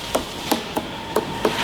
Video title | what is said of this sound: 天ぷらを芸術に。素材本来の旨み、本性を引き出す揚げ物の名工。 | ‘폰 폰’ 소리가 좋다 둔탁한 소리가 나지 않는 게 더 좋다